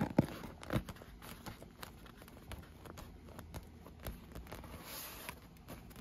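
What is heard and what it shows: Long nails tap and scratch an inflated, rainbow-colored PVC vinyl pool lounge that is hollow and air-filled. Two sharper taps open the clip, followed by quiet, irregular crinkly scratching and soft patter with a dull, low body and almost no ring.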